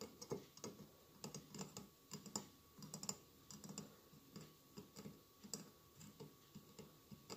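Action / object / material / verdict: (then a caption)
tap / mosaic glass candle holder / glass / none. Fingertips tap rapidly on the glass tiles around the sides of a hollow mosaic glass candle holder with a lit candle inside. The quiet, irregular taps are short, dry clicks with a bright, high tick over a soft low thud. Each dies away almost instantly, like light typing.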